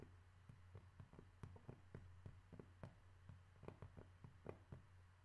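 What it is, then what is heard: Cork being tapped. A cork object is tapped 14 times in an irregular rhythm, each tap a short, dull knock that dies away almost at once. The taps are quiet and low-pitched, over a steady low hum.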